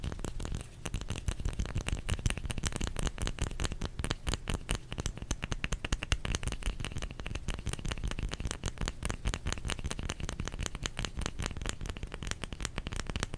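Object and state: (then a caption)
Bar of soap. Fingers tap rapidly and steadily on a solid bar of soap for the whole clip. The taps are quick, dry and close-set, with a soft, low thud, a little high clicky brightness, and almost no ring after each one.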